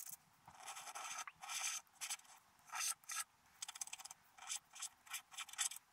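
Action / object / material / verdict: scrape / coated scratch-art paper scraped with a wooden stylus / coated paper / none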